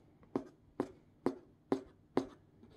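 Hard black plastic claw tips scratch across the printed packing tape and cardboard face of a hollow, medium corrugated cardboard shipping box. Five evenly spaced, short, dry scrapes are heard, each with a hollow low-mid body and a bright rasp on top that dies away quickly.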